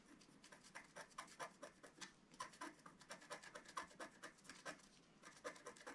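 A wooden scratch stylus scrapes away the coating of a flat, black-coated scratch-art card lying on a table in small strokes. The result is a quick, steady run of short, dry scratches with a bright, hissy texture centered around 1 kHz. There is almost no low end, and there is a brief pause near the fifth second.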